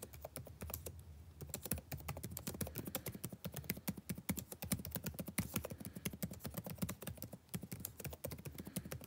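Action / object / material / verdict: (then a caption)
tap / plastic chiclet laptop keyboard / plastic / none. Fingertips type densely and steadily on a backlit laptop keyboard with plastic chiclet keys, the same keyboard throughout. Quick, soft clacking taps follow one another closely, each dying away almost at once, with a low, thuddy body and a little bright click. The level stays fairly quiet and even across the whole clip.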